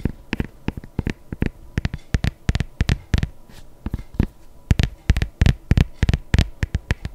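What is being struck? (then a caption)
Leather sneaker. A hollow, empty white adidas leather sneaker with laces, held on its side, is tapped and scratched with long nails on its leather upper. About 32 short, dull, low-pitched taps come in an irregular rhythm, mixed with brief scratchy rasps. Each sound stops almost at once, with no ring.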